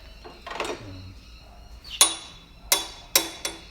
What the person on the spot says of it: You tell chromoly because it has that ring to it. Has a ting when you flick it or bang it with a tool.